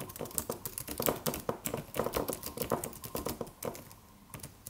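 Fingertips of both hands type on a slim silver aluminum computer keyboard with white plastic keys and a solid low-profile body. A quick, uneven stream of short, crisp clicks and taps with a midrange body and bright edges, each dying away almost at once. The typing thins out and softens toward the end.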